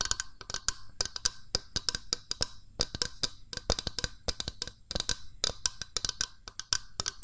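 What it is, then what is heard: Plastic mooncake press mold tapped with fingernails. A small, hollow, cream-coloured plastic mooncake press mold with a spring plunger is held in the hands while its body is tapped with long nails. The result is a quick, uneven run of sharp, dry, bright clicks, each dying away almost instantly, with a faint low rumble underneath.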